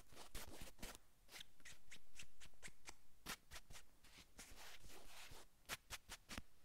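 Long acrylic nails scratch and drag across a navy cotton sweatshirt on a man's upper back. The result is quiet, irregular bursts of dry, bright fabric scratching, with longer rubbing drags between quicker strokes.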